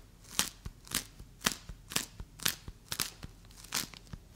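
A fist-sized solid ball of bright green play foam made of tiny polystyrene beads is held in both hands and squeezed, pressed and scratched with long acrylic nails and fingertips. It gives a series of short, bright, crunchy crackles, roughly two per second, each dying away almost at once.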